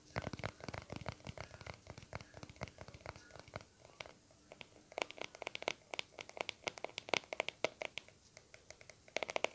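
Short nails scratch the lid of a small, round, white plastic aloe vera cream tub held close to the mic. It gives a rapid, uneven run of dry, crisp scratches and ticks with bright, high edges and almost no ring. The scratches come in dense bursts, with the loudest strokes in the second half.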